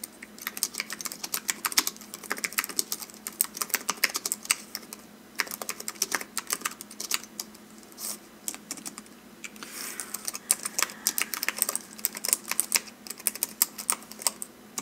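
Both hands type with their fingertips on a slim white wireless computer keyboard, with plastic keys on an aluminum base, lying on a velvet-covered desk. Rapid, bright, crisp key taps come in flurries with very short decay. Brief lulls fall around the middle of the clip.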